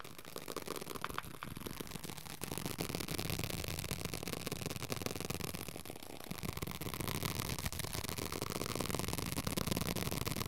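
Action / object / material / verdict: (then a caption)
scrape / paperback book with paper cover and pages / paper / none. Fingertips quickly tap and scratch the paper cover and page edges of a small paperback Dhammapada book. The result is a dense, continuous patter of soft taps mixed with dry scratching that stays fairly steady throughout.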